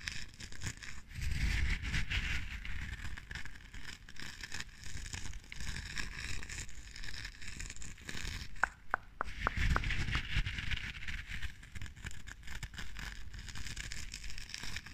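Long dark-painted nails scratch and pick at the white, crumbly-looking top of a small clear glass jar candle filled with red wax, held close to the microphone. The result is a steady, dense crackling and rustling texture with a low rumble underneath. Around the middle, a short run of sharp, bright ticks stands out.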